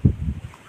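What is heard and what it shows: A spot on a rock is struck once, giving a single low, dull thud that dies away almost at once with no ringing. Unlike a nearby ringing rock, this spot sounds like ordinary dull stone.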